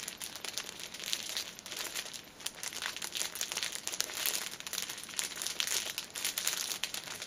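A hand-sized six-pack of soft, tissue-filled pocket packets in thin cellophane film is held up, then laid flat while long painted nails tap and press on the crinkly wrap. Dense, bright crinkling and small crackling taps run continuously throughout, with almost no low end.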